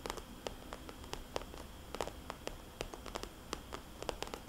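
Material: Plastic.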